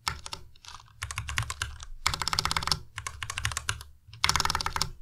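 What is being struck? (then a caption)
Plastic mechanical keyboard. A white compact Ducky Miya Pro mechanical keyboard with plastic keycaps is typed on continuously with the fingertips of both hands. Bursts of rapid, bright, short clacks with a low thock underneath are separated by brief pauses, with the loudest runs near the middle and end.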